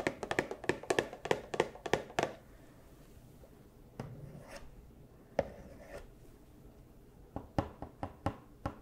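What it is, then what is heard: Cardboard toy box with plastic window. A small Funko Pop cardboard box with a clear plastic window and a figure inside is tapped and knocked with fursuit claws. A quick run of sharp, dry taps comes first, then a few scattered knocks with brief scratchy rustles, and a final cluster of taps. Each hit is short and thin-sounding, with almost no ring.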